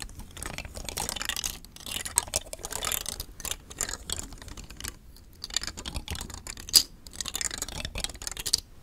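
Fingers with long nails push and click the thin nested hard plastic rings of a hollow, palm-sized rainbow telescoping star fidget toy held close to the mic. The result is a dense, quiet stream of bright, dry plastic clicks and scratchy rattles that come in bursts with brief pauses. A few sharper, louder clicks stand out near the end.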